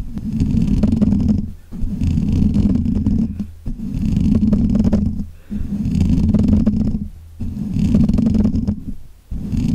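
Fingertips and nails of both hands scratch and rub around the black, hollow metal mesh grille of a desk microphone. It makes a dense, close, rumbling scrape centred low around 200 Hz, heard as about six sustained bursts separated by brief pauses.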